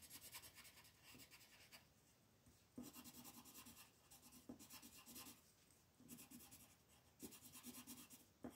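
A pink wooden colored pencil is rubbed in quick strokes to shade a flat white paper mandala sheet lying on a table, while the other hand rests on the paper. The clip has soft, bright scratchy rasping in back-and-forth bursts, with brief quieter pauses between groups of strokes.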